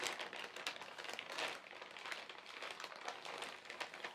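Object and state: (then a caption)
Plastic carrier bag crinkled. A large, thin white plastic carrier bag with black printed lettering, lying on a fabric surface, is crinkled and rubbed by fingertips. The result is a soft, continuous, bright crinkling and crackling with small rises and dips in loudness and no low-end rumble.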